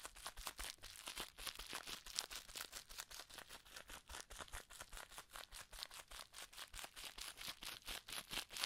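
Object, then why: Plastic bubble wrap. Cupped hands squeeze and crumple a small ball of clear plastic bubble wrap with air-filled bubbles using the fingertips. The result is a quiet, steady stream of short, bright crinkling crackles, arriving in slightly uneven bursts about twice per second.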